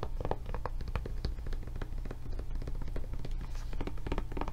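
Long nails tap rapidly on the raised handle flap and body of a blue silicone rubber tablet case held sideways. The taps are soft, dull thuds, mostly low in pitch, each dying away almost instantly in a steady, dense patter.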